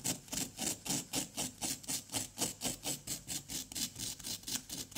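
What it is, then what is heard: Plaster dig block being scraped. A wooden pick scratches and scrapes around an embedded white item in a solid orange-yellow plaster dig block resting on cardboard, with crumbly powder around it. About 20 steady, bright, gritty scraping strokes come at roughly four per second, each short and dry with no ring.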